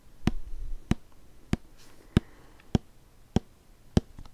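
A hollow white plastic shampoo bottle with a blue cap, held horizontally, is tapped with fingertips along its body. Seven soft, hollow knocks land at a slow, steady pace about 0.6 seconds apart, each with a low, dull body and almost no ring, over quiet background hiss.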